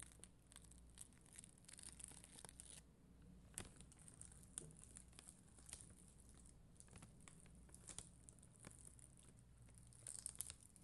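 A spoolie brush scrapes across the faceted gems of a flat acrylic rhinestone sticker sheet of red and clear gems. Quiet, bright, crinkly scratching runs throughout, with short sharp ticks over a steady low hum.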